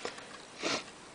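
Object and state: Nothing is struck.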